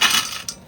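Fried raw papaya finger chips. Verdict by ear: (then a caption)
Crisp. Fried finger chips made from raw, home-grown papaya, fried in oil, give two bright, crisp crunches: a dense crackle that fades over about half a second, then a second, shorter crunch. The sound is high and dry with no low end, showing the chips are fried crisp.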